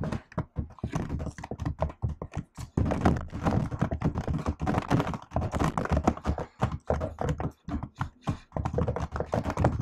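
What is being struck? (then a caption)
Plastic laptop keyboard keys. Fingertips and long acrylic nails type rapid key presses on a MacBook-style laptop keyboard with plastic keycaps set in an aluminium body. The result is a dense stream of short, dull thunks and clicks weighted toward the low end, each dying away quickly. The typing comes in quick bursts separated by brief pauses.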